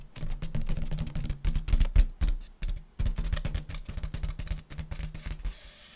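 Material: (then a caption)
Latex. Fingertips and long nails tap rapidly on an inflated purple metallic latex balloon, hollow and air-filled. The taps make soft, dull, low thumps with a faint hum near 113 Hz, each dying away almost at once, in an uneven patter. A brief airy hiss follows at the end.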